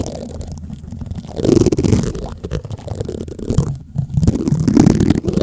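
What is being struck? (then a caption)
Metal mesh microphone grille rubbed with plastic spoons. White plastic spoons are rubbed against the black metal mesh grille of a large condenser microphone, producing close, low, gurgling scrapes and rustles. The sound swells into louder bursts around one and a half and five seconds, with a short near-silent gap just before four seconds. It is dull and bass-heavy, with little high content.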